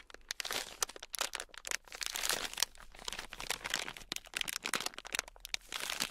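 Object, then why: Foam bead clay block. A palm-sized, solid red foam-bead clay (floam) block is held in both hands while fingertips press, squeeze and rub it. Dense, crunchy beaded crackles and crinkles pop in quick, bright bursts with almost no low end, each dying away instantly.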